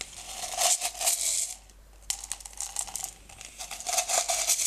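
Fingertips dig into and rub small blue-green decorative stones in an open, small clear plastic jar partly filled with them. Bright, gritty clicking and rattling comes in dense bursts, with a brief quieter pause near the middle followed by a sharp click as the rubbing starts again.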